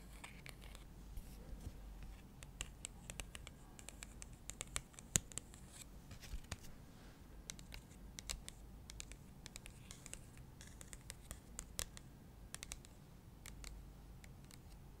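Long acrylic nails tap and scratch the surface of a thin, flat printed cardstock insert card held upright. The result is a quiet, irregular run of sharp, bright clicks and short scratchy strokes over a soft, low background rumble.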